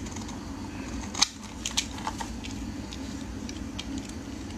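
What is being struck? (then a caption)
Bar of soap cut by a metal blade. A metal utility blade scrapes and shaves the edge of a solid, hand-sized rectangular orange bar soap held in the hands. Quiet, bright crackling and scraping ticks rise over a steady low background hum, with the sharpest snap early on and a few smaller clicks after it.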